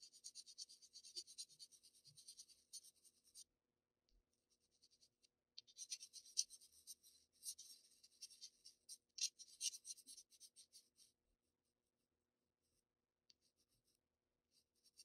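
A black wooden graphite pencil scratches and shades textured block areas on a flat Bristol paper sheet. Quiet, bright, dry scratching strokes come in two dense bursts, one at the start and one in the middle, with only a few faint ticks in between and at the end.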